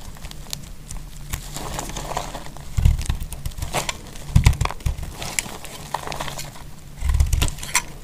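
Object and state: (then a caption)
Dry bar soap being scraped and cut. A thin slab of a solid pink dry soap bar, held in fingers with long nails, is scraped and sliced with a metal utility knife blade. Quick dry crackling scrapes with bright ticks repeat throughout. Louder, low-heavy bursts come near 3, 4.5 and 7 seconds over a steady low rumble.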